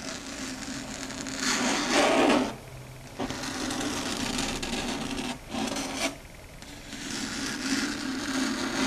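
Long red stiletto nails scratch and rub across a large, flat, dark gray chalkboard, making a continuous bright, gritty scraping with a steady squeaky tone around 280 Hz. The strokes pause briefly near 2.6 to 3.2 seconds and 6.1 to 6.6 seconds, then the rubbing resumes and continues to the end.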